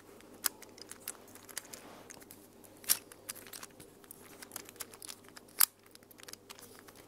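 A small mint plastic infinity cube fidget toy is unfolded and refolded by hands with long nails. Quiet, bright plastic clicks and crinkly ticks come at an irregular pace. Three sharper snaps stand out near the start, middle and end.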